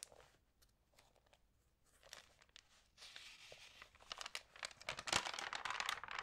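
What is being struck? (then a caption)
Glossy magazine paper pages. Long painted nails and fingertips rub, crinkle and turn the thin, lightly water-sprayed pages of an open glossy food magazine lying flat on a table. Soft, sparse crinkles and ticks at first grow into louder, denser, bright crackling and rustling over the second half.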